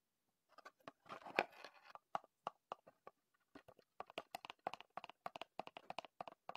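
A small, closed, printed Heddon cardboard lure box is held in both hands while fingertips tap and pat it and turn it over. Soft, dry, papery taps come in quick bursts, with a brief scratchy rustle as it is turned. The taps are quiet and short, with no ring.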